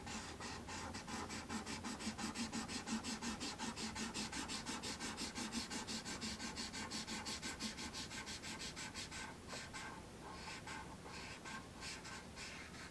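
A marker tip rubs across a thin sheet of black paper resting on a wooden tray in fast back-and-forth coloring strokes. The result is a steady, rhythmic scratchy rasp of about three strokes per second with bright papery hiss and a low scraping hum underneath. Around ten seconds in the strokes turn slightly softer and less even.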